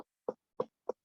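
A whole watermelon is knocked on three times to judge its ripeness, giving short, dull, hollow thumps centred around 500 Hz that die away almost immediately. The hollow sound marks the watermelon as ripe.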